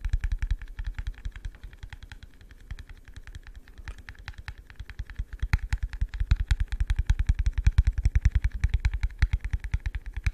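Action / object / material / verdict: tap / plastic cup / plastic / none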